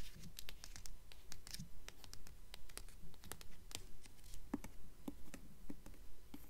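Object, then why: Hardcover book with paper dust jacket. Long nails tap and rub across the paper dust jacket of a blue hardcover book held at a tilt. Quick, dry taps and soft scratchy strokes come in a steady rhythm of about two per second, each one short, bright and without ring, over a low, quiet background hum.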